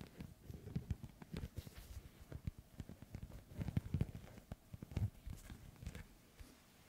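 A small inflated, hollow ball with a white, black and yellow synthetic leather panel cover is held in one hand and tapped with the fingertips of the other. The result is a rapid, uneven series of soft, dull, low thuds that stop at once with no ring.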